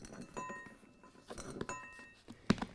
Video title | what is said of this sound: Pro Tips: Shake, Then Bake Your Repair Materials - Concrete 101 - DIY Project Guide | You can hear it, it's hard to dig into.